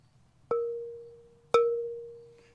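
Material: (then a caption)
Ceramic. A ceramic pottery piece is tapped twice for a ring test, each tap giving a clear, sustained ring with a steady tone and a faint brighter overtone that fades over about a second. The clear ring shows the piece has no cracks.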